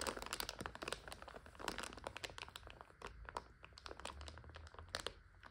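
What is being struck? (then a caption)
Plastic bag of dry egg noodles. A full clear plastic bag of dry egg noodles resting on a couch is scratched with long nails and pressed down with the palms, crunching the dry noodles inside. Dense, bright crinkles and sharp crackling snaps come in quick bursts, with soft low thumps underneath as the bag is pressed.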